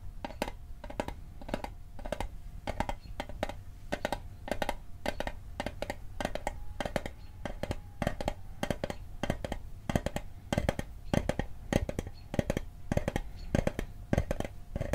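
A small hollow rectangular metal Altoids mint tin, held in the left hand above the microphone, is tapped quickly with the right hand's fingertips and nails. The result is a steady stream of short, dry metallic clicks and ticks with very little ring, over a faint low hum.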